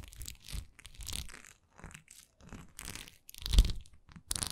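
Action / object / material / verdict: scrape / textured wax pillar candle / wax / none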